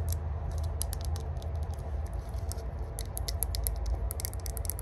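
A small, hollow, multi-section rose-gold metal herb grinder is held in the hands while long burgundy nails tap and scratch its ridged sides and lid. Quick, bright, crisp metallic clicks and scratchy ticks come in rapid, irregular runs. They sit over a steady low hum.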